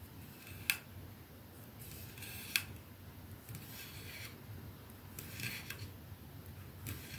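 Long fingernails scratch and tap the silver band and glass end of a capsule-shaped glass perfume bottle resting on a dark surface. Two sharp, bright clicks with a faint ring near 2.6 kHz stand out over a quiet bed of soft, hissy scratching, with lighter taps scattered through the rest of the clip.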